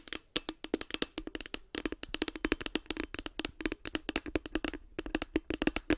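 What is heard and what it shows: Long nails tap rapidly on the top and front of a light blue, hollow hard plastic case with a cartoon face. The result is a dense, uneven stream of sharp, bright clicks, each carrying a faint hollow tone around 300 Hz and dying away almost instantly.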